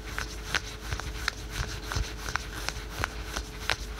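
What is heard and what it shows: Fingertips and nails scratch patterned spandex/polyester yoga pants worn on the thigh. Quick, irregular scratching strokes give short bright rasps over a low, steady rumble, each one dry and ending almost at once.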